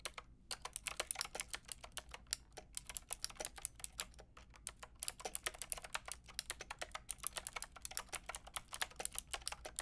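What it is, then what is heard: Plastic mechanical keyboard being typed on. A white and pink Lofree mechanical keyboard with round plastic keycaps is typed on with long painted nails and fingertips. It makes a quick, steady stream of sharp, bright, clicky taps that stop instantly. A short pause comes near the start and another midway, over a faint low hum.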